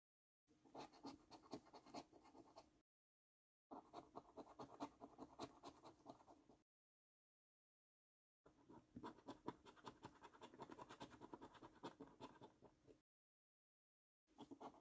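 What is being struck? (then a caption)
Paper scratch card with scratch-off coating. A copper coin scratches the scratch-off coating of a thin, flat paper National Lottery £15 Luxury Lines scratch card resting on a dark table. Rapid, uneven scratching comes in four bursts separated by short silences, with the last burst cut off at the end. Each burst is a dry, gritty rasp centered in the midrange with brighter edges.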